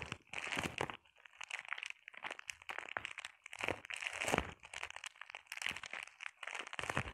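Long painted nails scratch and tap across a flat sheet of clear plastic bubble wrap. Bright, crinkly scratching and crackling comes in bursts of rapid clicks, separated by brief quiet pauses, with little low end.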